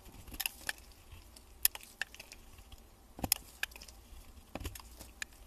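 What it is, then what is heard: Bar soap being shaved. A metal utility blade shaves the edges of a solid cream bar soap held in gloved hands, with the wrapper lying nearby. Quiet, crisp scraping and bright little clicks and crackles come in scattered bursts, each dying away almost instantly over a soft, low background.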